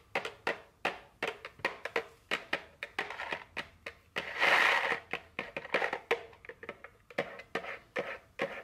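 A small printed cardboard chocolate candy box, likely full and sealed, is held in the hand and tapped and scratched with very long fingernails. A quick series of dry, papery clicks rings around 1.9 kHz with a bright edge, broken midway by a louder, sustained scratching rasp before the tapping resumes.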